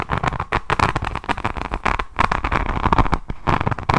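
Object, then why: Resin rhinestone-covered notebook. Long nails scratch across the beaded cover of a resin rhinestone diamond painting notebook held in both hands close up. The result is a dense run of quick, crisp clicks and crackles with a bright tick near 1 kHz and a low rumble underneath.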